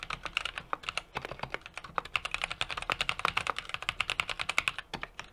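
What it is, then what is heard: Mechanical keyboard being typed on. A small 60% mechanical keyboard with an aluminum case, brass plate and plastic keycaps is typed on rapidly with the fingertips of both hands. About 40 short, crisp key clacks sound in quick succession, bright and clicky with a tonal ping near 1.2 kHz and almost no low-end thud or ring.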